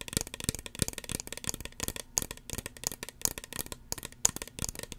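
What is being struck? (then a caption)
Small plastic spray bottle. Long fingernails tap rapidly on a small, hollow red plastic spray bottle with a white plastic pump cap. The result is a fast, uneven run of sharp, bright clicks that die away almost instantly, with little low end.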